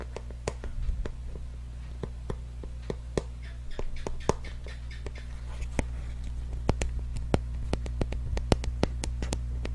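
A small, hollow lavender and white printed cardboard box, held in the hand close to the microphone, is tapped and scratched with fingernails. Sharp, dry, bright clicks land irregularly at first, with soft scratchy rustles, then grow quicker and more regular toward the end. A steady low hum sits underneath throughout.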